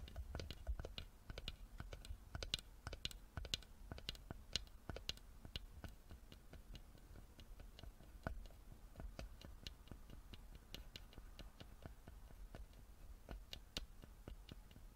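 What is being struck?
Small carved wooden box.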